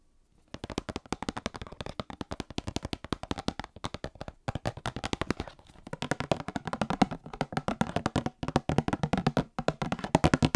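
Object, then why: Small cardboard box. Long fingernails tap and scratch rapidly on the sides of a small, hollow, sealed printed cardboard Star Wars trading card box held upright. The result is a fast stream of short, dry, hollow clicks that stop briefly a few times, with little ring after each tap.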